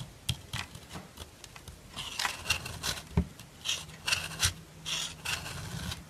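A dark metal file scrapes along the edges of a solid white bar of soap, shaving off fine white powder. Short, bright rasping strokes come one after another, with some longer grinding passes and a low hum underneath.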